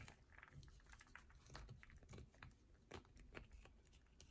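Long nails scratch and tap quickly along the curved edge of a solid yellow bar of soap held in both hands. The result is a quiet, rapid run of dry clicks and short scratchy strokes, with crisp high ticks over a soft low thump.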